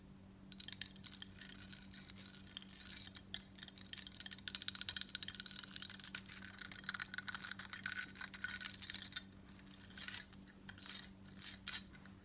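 Long nails quickly tap and scratch a worn, embossed gold-tone metal crescent bib necklace. The result is a dense run of bright, sharp metallic clicks and scratches, with a faint steady low hum underneath.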